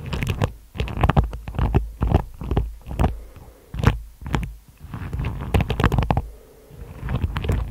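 Long nails tap and scratch over the tips of a hairbrush with dense plastic bristles on a wooden body. The result is irregular clusters of quick, dry, bristly crackles over a heavy low rumble, with thin bright streaks on the sharper taps. Brief quiet pauses separate the bursts.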